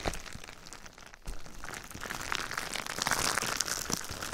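Clear plastic bubble wrap covering a binaural microphone is gripped, rubbed and scratched with fingertips and nails. Dense, bright crinkling and crackling runs throughout, dipping briefly just after one second before returning louder and sharper toward the end.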